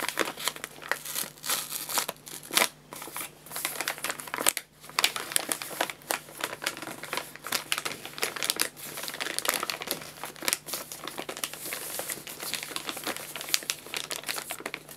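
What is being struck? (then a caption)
Filled paper pet food bag. A filled 2 kg white paper bag of guinea pig food is held in both hands while fingertips rub and crinkle the paper. The result is a steady stream of dry, bright crinkling and rustling, with sharper crackling bursts throughout and a faint low hum underneath.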